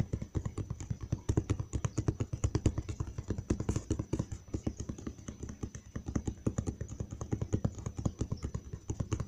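Fingertips of one hand tap rapidly and steadily on the flat side of a large, hollow brown cardboard box held close by. Each tap is a short, dull, low-pitched thud with a hollow boom and almost no bright edge, and the taps run together in a continuous rolling patter.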